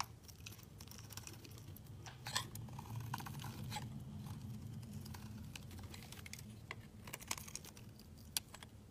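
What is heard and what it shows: A solid, translucent orange glycerin soap bar is held in the fingers and shaved into curls with a utility knife blade. Bright, crisp scraping and crackling ticks repeat irregularly over a steady low hum. A few sharper snaps stand out, and each stroke stops dry with no ring.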